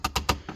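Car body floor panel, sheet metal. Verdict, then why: Hollow. Four quick taps on a bare sheet-metal floor panel of a BMW E36 that has no sound deadening, only some underbody bedliner beneath and thin carpet at that spot. Each tap gives a short, hollow knock with a low thump and a bright edge that dies away quickly. The untreated panel sounds hollow.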